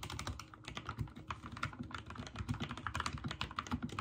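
Fingertips type quickly on a backlit mechanical keyboard with white and teal plastic keycaps. Each key press gives a short, dry click with a low, thocky body and almost no ring. The presses come in a steady, overlapping stream.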